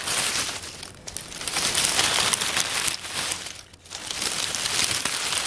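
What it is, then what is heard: Dry oak leaves rustled by hand. Bare hands pat and rustle a loose pile of dry brown oak leaves on a wooden table, working them with fingers and palms. The result is a steady, bright, crisp crinkling with almost no low end, easing briefly around one second and again near four seconds before picking back up.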